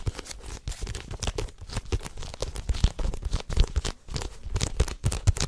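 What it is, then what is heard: Paperback book, tapped and scratched. A paperback manga volume with a green cover, paper pages and a solid block is held close to the mic while fingertips and nails tap and scratch its cover and pages. The result is a dense stream of soft, muffled taps with a low thump, overlaid with dry, crinkly scratching and papery rustling that flickers with bright edges.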